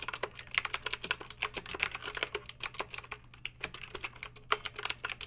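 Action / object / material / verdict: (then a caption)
tap / plastic mechanical keyboard / plastic / none. Long pink acrylic nails type steadily on a plastic mechanical keyboard with backlit round plastic keycaps. The result is a quick run of sharp, bright clicks and clacks, each dying away almost instantly, over a faint steady low hum.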